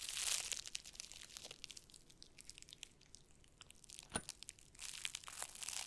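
A large flat board wrapped in crinkly black plastic cling film is held in both hands while fingertips rub and crinkle the wrap. Bright, dry crinkling and crackling fill the clip, loudest at the start and again near the end, with a quieter stretch in the middle and one sharp snap just past four seconds.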